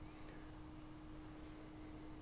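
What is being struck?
Nothing is struck.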